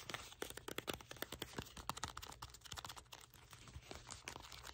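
A small hollow red cardboard box is gripped in both hands while fingertips and nails tap and scratch its sides. A quick, irregular stream of soft, dry taps and crisp scratches rises above a faint, steady low hum. Each tap dies away almost instantly.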